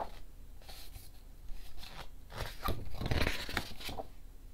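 Fingertips lift and quickly turn the matte paper pages of a hardcover picture book lying open on a table, one page at a time. Soft, dry paper sliding and flipping sounds rise into brighter crisp swishes as each page falls over.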